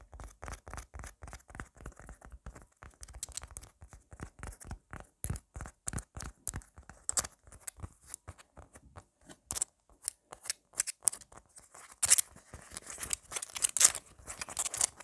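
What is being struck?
Foam squishy tomato toy.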